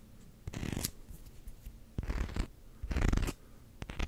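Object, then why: Rubber hockey puck. Fingernails scratch fast along the edge and textured rim of a solid black rubber hockey puck. Four short bursts of dry, rasping scratching stand out over a quiet background, each a dense flurry of tiny scrapes with a low, muffled body and a bright, hissy top.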